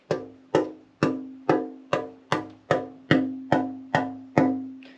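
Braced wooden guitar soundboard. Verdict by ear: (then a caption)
Stiff. A parlor guitar soundboard, freshly braced and out of the go-bar deck with the braces not yet carved, is tapped 11 times at a steady pace. Each tap gives a short, woody knock with a clear tone near 266 Hz that decays quickly. The top sounds stiff, bright and trebley, and its X-brace arms are completely unyielding until they are tapered.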